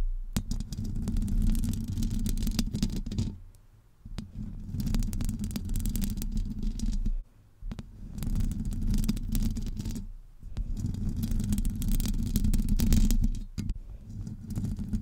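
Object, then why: Metal mesh microphone grille scratched with long nails. Long acrylic nails scratch the hollow domed metal mesh grille of a Blue Yeti USB microphone, producing dense, rumbling low-pitched scraping with a few bright crackles on top. The scratching comes in sustained bursts separated by brief quiet pauses, and by the end the hands sit lower, near the base of the grille.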